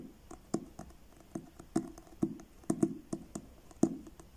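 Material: Card.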